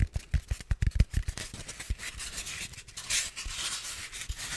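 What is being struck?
Styrofoam block.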